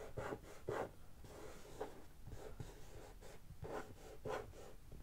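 A closed, hollow, medium-size brown corrugated cardboard shipping box lies on a carpet and is tapped and scratched on its printed top with long painted fingernails and fingertips. Soft, dull taps mix with dry scratching and rubbing strokes, with the four loudest bursts standing clearly apart.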